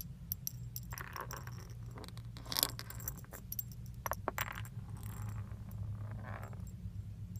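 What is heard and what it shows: Small solid metal leaf charms with a pink finish, hanging on a thin metal chain, are pinched by the fingertips and shaken in front of a steering wheel. Light, bright metallic clinks and jingles come in scattered bursts over a steady low hum.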